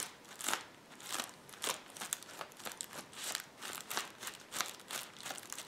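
Fingertips press and scratch across a roll of clear plastic bubble wrap resting on a table. Soft, bright crinkling and crunching rustles rise and fade in a steady series of short bursts, with almost no low end and very little ring after each one.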